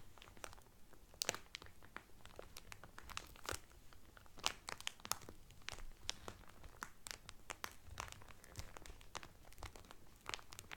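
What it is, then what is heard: Cellophane-wrapped towel crinkled. Fingertips and medium painted nails press and crinkle the loose, thin clear cellophane wrapped around a folded blue terry Carnival towel lying flat on a table. Dense, irregular crackles and sharp, bright snaps come in quick succession at a fairly quiet level, each dying away almost instantly, over a soft low rustle.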